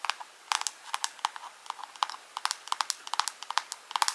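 Long pink acrylic nails tap and scratch a small, hollow, round clear plastic jar or lid held close up. About twenty quick, bright clicks with a hollow knock near 930 Hz die away almost instantly, mixed with light scratchy rustling between them in an irregular rhythm.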